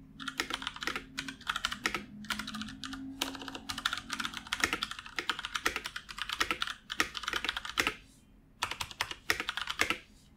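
Fingertips of both hands type continuously on a full-size black plastic computer keyboard resting on a wooden desk. Rapid, bright, dry key clicks follow one another in quick bursts, with a brief pause near the end before typing resumes.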